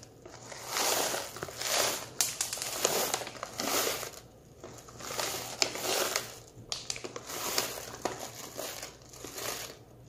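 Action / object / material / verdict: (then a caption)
shake / plastic snack pouch with small hard-shelled candies / plastic / none. Fingertips pinch and crinkle the top edges of an open plastic M&M's Minis pouch full of small hard-shelled candies while the bag is gently jostled, rattling the candies inside. Bright, dry crinkling comes in repeated swelling bursts, dotted with sharp little clicks and ticks and almost no low end.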